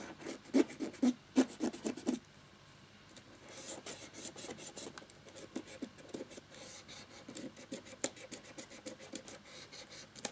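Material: Plastic.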